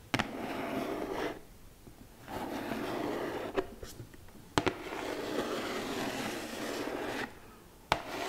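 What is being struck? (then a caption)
Glitter-coated cardboard gift box. Long nails rub and scratch the surface of a flat, hollow red glitter cardboard gift box held upright. Three stretches of dry, gritty scraping are separated by quieter pauses, and five sharp clicks pop out along the way.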